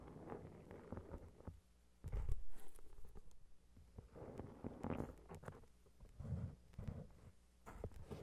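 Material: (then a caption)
Foil, card. Long red-painted nails tap and scratch the shiny gold reflective cover of a gold metallic foil-covered notebook, which is then held by its edges. Quiet, dull taps and soft scratching come in uneven bursts, heavy in low thuds with little brightness, and each tap dies away almost at once. A louder cluster of taps rises near the two-second mark before the sound settles back to gentle scratching and tapping.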